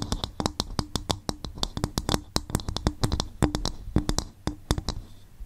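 An upturned, hollow, empty coconut shell bowl is tapped with long fingernails on its sides and top in a quick, uneven run of about 31 distinct taps. Each tap is a short, hollow knock with a low woody body and a bright fingernail click on top. The taps die away almost at once, leaving brief quiet gaps between them.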